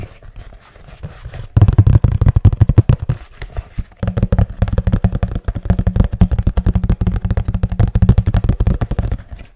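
A hollow, medium-sized, patterned brown cardboard box is held in both hands and tapped rapidly with the fingertips. After a quiet, softer start, it produces fast bursts of dull, deep, hollow thuds with almost no ring. There is a brief lull near the middle before the steady drumming resumes.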